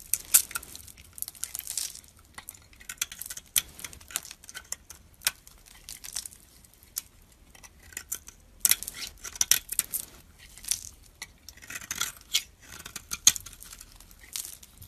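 A hand-held, partly carved solid white soap bar with a pink rim is shaved with a metal knife blade. Crisp, dry scraping strokes come in quick bright bursts with no ring after each cut, separated by short quiet pauses.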